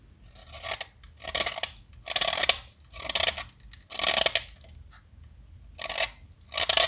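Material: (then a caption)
Chalk. A small solid white chalk stick, held in the fingertips, is carved with a snap-off metal utility knife blade. Seven bright, dry scraping strokes rasp against the chalk, separated by short quiet pauses. There is almost no low end and the sound dies out at once after each cut.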